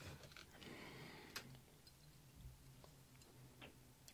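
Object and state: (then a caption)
Small plastic bottle. A small, hollow, clear plastic bottle with a white cap and printed label is held in one hand and tapped quickly with the fingernails of the other. The taps come as soft, rapid, dry clicks that sound like typing, with a few sharper bright ticks over a low, steady hum.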